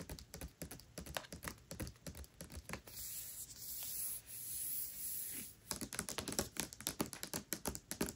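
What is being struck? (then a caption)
Hardcover book with paper dust jacket. Long nails scratch and rub the glossy paper dust jacket of the hardcover book Tress of the Emerald Sea lying flat. Rapid, crisp scratching strokes give way to a steady, bright rubbing hiss for about two and a half seconds, then the quick scratching resumes until the end.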